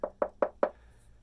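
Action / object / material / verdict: knock / concrete facing over a block foundation wall / concrete / hollow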